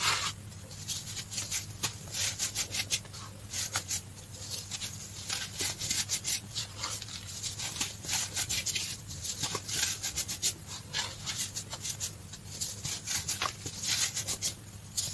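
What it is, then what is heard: Crushed baking soda powder. Fingertips with short painted nails squeeze, crush and rub a crumbled mound of green-dyed baking soda powder with a few chunks in it. Dense, bright crunching and gritty rustling comes in rapid bursts over a faint steady low hum.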